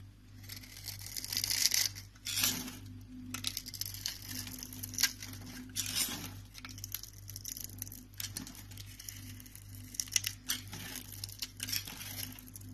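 A small knife with a green handle scores a grid into a hand-sized, rectangular bar of green soap with embossed lettering held in the palm, then scrapes off small cubes. Bright, crisp scraping and crumbly crinkling come in dense, short bursts over a faint steady low hum.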